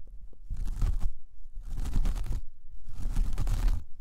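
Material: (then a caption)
Jute. A large, flat, solid round coaster of braided jute or straw is scratched up close with the long painted nails of one hand. Three separate passes of dry, rough, crackling scratching are heard, each about a second long with short pauses between. The scratches are broadband, with low rumble and a bright raspy texture.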